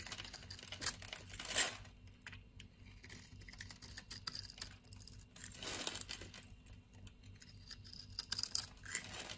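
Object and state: Bar of soap being scraped.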